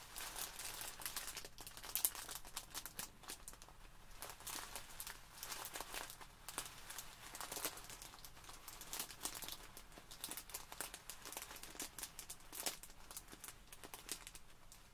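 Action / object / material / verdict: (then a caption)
scrape / plastic bag filled with polystyrene foam beads / plastic, polystyrene / none. Long nails scratch and fingertips squeeze a small clear plastic bag full of tiny white polystyrene foam beads resting on a wooden table, the beads shifting inside. The result is a steady, quiet stream of bright crinkling and crackly rustling with brief louder bursts as the bag is pressed.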